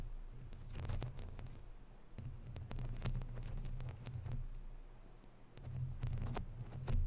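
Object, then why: Woven metal mesh microphone grille. Long natural nails scratch and rub across the round, hollow woven metal mesh grille of a microphone. The result is a close, muffled low rumble with quick scratchy clicks and brief bright ticks, swelling louder in waves toward the end.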